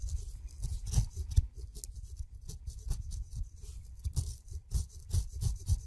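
A steel razor blade scrapes the fuzz off the skin of a whole kiwi fruit, sending the hairs flying. Quiet, irregular short scraping strokes with a dull low thump and a faint bright, rasping hiss follow one another with no ring after each.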